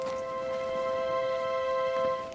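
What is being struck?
Nothing is struck.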